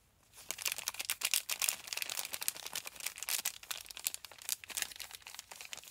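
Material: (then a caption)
Cardboard. A small printed cardboard box holding a bar of Lifebuoy soap is held in both hands and worked open with the fingertips and thumbs. It gives a dense run of bright, dry crinkling and tearing sounds. The sound is crisp and short-lived, with almost no low end.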